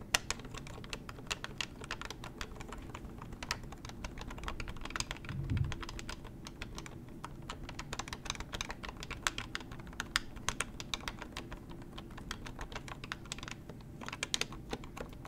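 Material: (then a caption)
Plastic. Long nails keep tapping the keypad buttons and hollow plastic body of a beige plastic corded hotel desk telephone held in the hands. The result is a fast, steady stream of dry, bright clicks with no ring after each tap, over a faint low rumble.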